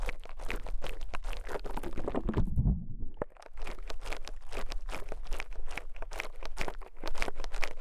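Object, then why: Soft konjac sponge scraped with a metal pick. A rose-gold metal pick is pressed and scraped again and again into a small, soft white konjac sponge sitting on a microphone capsule. The result is a dense run of close, squishy crackles and scratchy rustles over a deep, muffled low rumble. A heavier, thick squelch comes just before a brief quiet dip near the middle, then the rapid crackling resumes.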